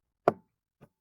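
Two knocks on a brown, solid-looking table: a sharp, hollow-sounding first knock with a brief midrange tone, followed about half a second later by a much fainter second knock. Both die away almost at once, with little low or high end.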